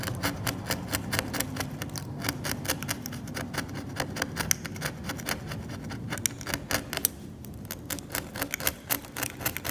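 A metal scalpel held in the fingertips scrapes thick, cracked, yellowed varnish off the flat, solid surface of an old oil painting, flaking it away and leaving debris on the surface. Rapid, dry, bright scratching strokes repeat in quick succession over a steady low hum.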